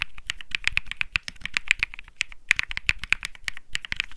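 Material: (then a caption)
Plastic. Fingertips type steadily on the plastic keycaps of a white Think 6.5 mechanical keyboard with Bsun Lollipop switches. The result is a rapid run of short, bright clacks, each centered around 2.4 kHz with a light low thock underneath, and each dies away almost at once.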